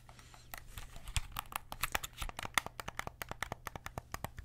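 A white and black PS5 DualSense controller with a hollow hard plastic shell is held in both hands while fingertips tap and press its buttons and sticks. The result is a rapid, uneven series of short, dry, bright plastic clicks that speed up and grow more distinct toward the end, over a faint low hum.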